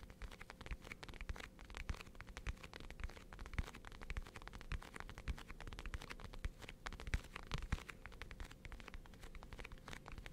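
Long painted nails tap and click on a small white hard plastic Hello Kitty case held in both hands. The taps come quickly and irregularly as a dense run of short, dry clicks with soft low thumps underneath. Each tap dies away almost instantly.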